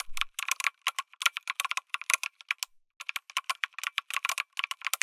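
Fingertips type on a lit mechanical keyboard with an aluminum case and plastic keycaps, producing rapid, bright, clicky keystrokes in quick bursts. A short pause falls near the middle before the typing resumes. Each sharp tap dies away almost instantly.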